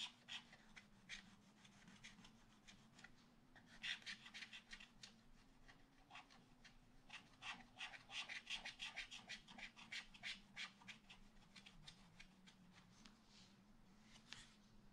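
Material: Coated card.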